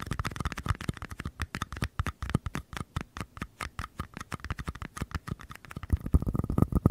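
Fingertips and nails rapidly tap and scratch the outer walls of small, empty white mini paper cups, one held on its side in each hand beside a microphone. The result is a quick, uneven patter of short, dull, low-heavy taps with almost no ring and a faint midrange tone. Toward the end the taps get louder and denser.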